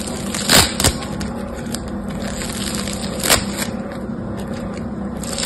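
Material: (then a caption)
Slime and foam beads. A palm-sized yellow-green foam bead slime (floam) is pulled and squeezed between the fingertips of both hands. It makes a steady, fine crackling and popping, with a few louder, brighter snaps standing out from the continuous texture.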